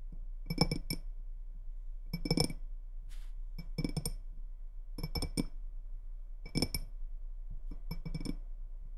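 Long red-painted nails tap and scratch the sides of a small, faceted, clear glass tumbler, partly filled with water and held in both hands on a wooden table. Six short bursts of quick, bright clinks with a soft low body land about every one and a half seconds. Each tap dies away almost at once, with a faint scratch heard between bursts.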